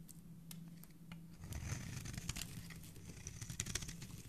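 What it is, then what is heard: Bar of soap being scraped. A solid white bar of soap, held in a hand with dark-painted nails, is scraped with a metal blade that peels off curly shavings. Soft, crinkly scraping and brittle crackles run over a low steady hum, growing louder and denser about halfway through with bright, dry flecks.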